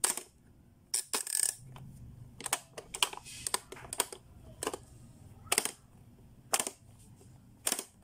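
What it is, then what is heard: Plastic pop-up toy. Fingertips press the button and turn the dial on a blue, hollow, hard-plastic Playskool pop-up learning toy, and its lids snap open. The result is a string of sharp, bright plastic clicks and snaps that die away almost instantly, separated by quiet gaps over a low background hum.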